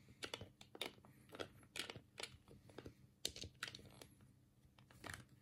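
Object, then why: Plastic game controller. A black, hollow plastic Sega control pad is held in both hands while the thumbs click its D-pad and A, B and C buttons. The result is an irregular run of quiet, dry, bright plastic clicks that stop dead with no ring, over a faint low steady hum.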